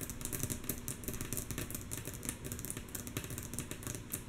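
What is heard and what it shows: Long natural nails of both hands tap rhythmically on a flat, light, solid wooden tabletop. The taps are soft, quick clicks that fall in a steady, continuous patter with a low woody body and bright nail ticks. Each tap dies out almost at once.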